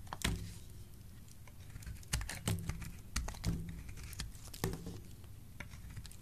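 A solid yellow bar of soap is held in the hand while a metal blade tool scrapes chunks and flakes off it. Sharp, bright scraping crackles and ticks stand out against a soft, low, dull rumble, with the louder cuts coming in irregular bursts. Each cut dies away quickly.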